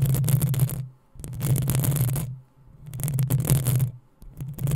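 Long nails scratch and tap the hollow metal mesh grille of a black desktop microphone, producing bright, gritty scraping over a deep, boomy low hum. The scratching comes in repeated bursts, each swelling loud and then fading briefly before the next begins.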